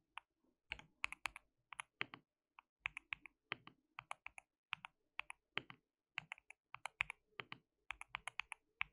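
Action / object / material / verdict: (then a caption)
tap / mechanical keyboard with plastic keycaps / plastic / none. Fingertips of both hands type continuously on a white mechanical keyboard with plastic keycaps. The sound is a quiet, steady run of short, bright plastic clicks with irregular rhythm, almost no low end and no ring after each keystroke.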